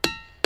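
A diabase boulder at Ringing Rocks Park in Bucks County, Pennsylvania, is struck twice with a hammer. Each strike gives a sharp, bright attack followed by a bell-like ring with clear high overtones over a fundamental around 330 Hz. The tone lingers between the strikes before the second hit sounds.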